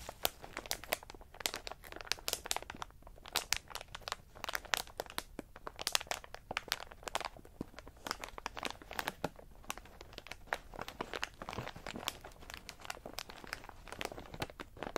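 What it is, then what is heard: Plastic bag of pistachios. A medium flexible plastic snack bag with a clear window, full of in-shell pistachios, lies on a fur mat while fingertips press and scratch it. Dense, bright crinkling of the plastic mixes with the clicking and shifting of the shells in a steady run of quick, sharp crackles with little low end.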